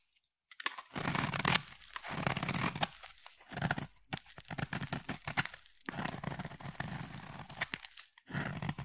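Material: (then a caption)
Soap. A palm-sized solid blue bar of soap, held in the hand, is shaved with a utility blade, peeling off thin curls. Dense, broadband scraping and crunching strokes come in bursts separated by short pauses, with a bright, crisp edge over a soft low body.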